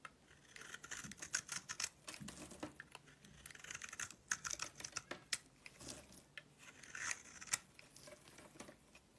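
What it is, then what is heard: Soap bar being shaved. A solid pink soap bar with a silver coating is held in the hand and shaved with a box-cutter blade. The result is quiet, bright, crackly scraping: rapid clusters of crisp ticks and rasps with almost no low end.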